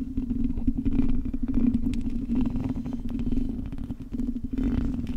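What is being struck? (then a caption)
Metal mesh microphone grille. Long acrylic nails tap and scratch the hollow metal mesh grille of a silver microphone, giving a dense, close rumbling texture with a steady low hum centred near 250 Hz and quick crackling ticks on top. The level briefly dips when the hands lift off, then the scratching resumes.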